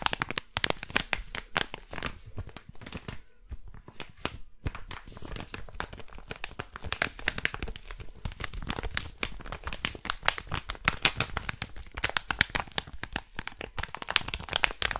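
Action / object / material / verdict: scrape / plastic packet / plastic / none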